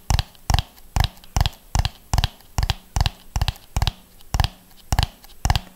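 Fingernails tap along the ridges of a hollow orange and yellow ribbed plastic dome as it is rotated in the hands. A slow, fairly steady series of short, dry taps is heard, each a quick bright click with a low hollow thump that dies away almost at once.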